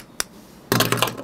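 A plastic armor part from an Iron Man Mark V action figure is tapped once with a sharp, bright click, then dropped, landing in a short burst of light plastic clattering. The part is plastic rather than diecast metal, likely to cut production costs.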